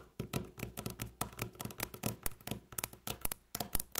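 Long natural fingernails tap fast in rolling patterns on a solid, light-colored flat wooden tabletop. About twenty quick, separate taps sound, each a sharp click over a dull low thump that dies away almost at once.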